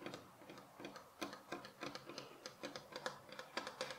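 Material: Pine wood.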